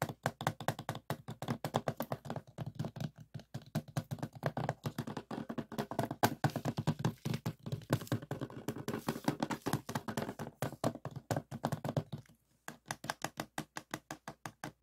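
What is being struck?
Plastic DVD case.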